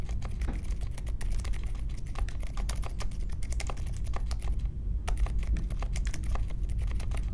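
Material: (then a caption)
Plastic. A small 60% mechanical keyboard with a grey case, white, mint and pink plastic keycaps, and silent linear switches sits on a marble desk and is typed on steadily with the fingertips of both hands. Soft, muted key clicks come in a quick, continuous stream over a deep low hum, with a brief pause near the five-second mark.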